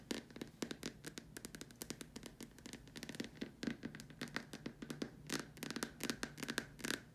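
Long dark nails tap rapidly and irregularly on the upper surface of a large, hollow white plastic dome lamp shade, near the top hole. Each tap gives a quick, sharp click with a brief hollow ring, forming a steady stream of light, crisp taps at a quiet level.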